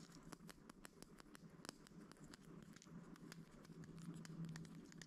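A clear plastic toothpick holder with a bear-shaped lid, full of wooden toothpicks, is tapped and scratched with fingertips and nails. The result is a quiet, irregular patter of short, dry clicks and faint scratching close up.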